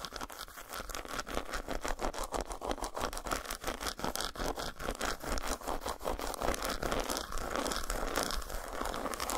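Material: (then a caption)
Chocolate. Long nails rapidly tap and scratch the squares of an unwrapped solid dark chocolate bar resting on a towel. Dense, crisp clicks and scraping textures run continuously at a fairly steady level, with bright broadband detail over a low background rumble.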